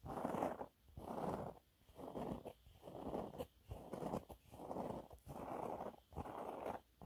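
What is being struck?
Textured fabric cleaning cloth.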